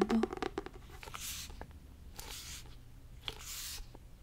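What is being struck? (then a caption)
Fabric-covered hardcover notebook. Fingernails scratch and rub a textured fabric-covered hardcover notebook, opening with a burst of quick, dry scratching taps. Three soft, bright, hissy rubbing swells follow, each fading out before the next begins.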